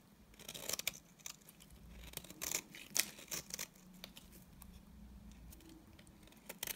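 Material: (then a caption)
Soap. A utility knife blade scrapes the surface of a solid, dry beige bar of soap into curls. Irregular bursts of bright, dry scraping and crisp crackling rise over a quiet background with brief pauses between strokes.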